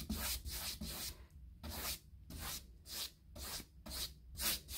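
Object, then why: Molded hardboard interior door. A brush's bristles are scratched across the textured surface of a panelled, molded hardboard interior door with a knob hole, likely hollow-core molded composite. Nine repeated strokes make bright, dry, scratchy rasps separated by brief quiet gaps.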